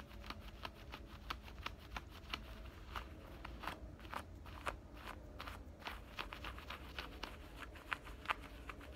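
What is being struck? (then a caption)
Denim shorts side pocket. Fingernails scratch along the seam and stitch lining of a side pocket on black denim shorts. A quick series of short, dry, bright scratching strokes repeats over a steady low rumble, each stroke stopping almost instantly.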